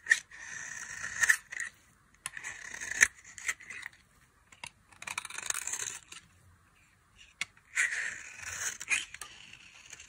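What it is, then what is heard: Dry soap bar being scraped. A small knife scrapes the face of a solid, dry orange soap bar held between the fingers, peeling off thin shavings. A series of short, dry, bright scraping strokes comes in bursts with brief pauses and a few sharp clicks between them.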